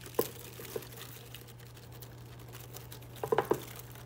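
Fingertips with painted nails rub, brush and crinkle a dense cluster of small, thin, flexible green plastic leaves on a fake boxwood plant. Soft crinkling and light ticking clicks come near the start and in a tighter burst near the end, over a faint steady low hum.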